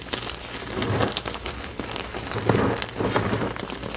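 Bare fingertips scoop, squeeze and crumble a pile of pale green dyed gym chalk powder and crumbled pasted-chalk chunks on a flat surface. A steady run of soft, crunchy crackling and gritty crumbling fills the clip, with brief brighter crisp snaps over a low, dull body.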